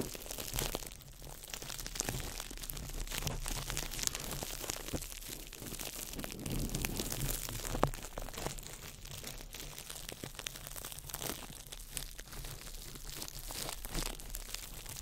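A small ball of crumpled clear plastic wrap is crinkled by fingertips over the mic, giving a continuous stream of dense, crackling crinkles with bright high-end snaps. Occasional sharper pops stand out above a steady low rumble underneath.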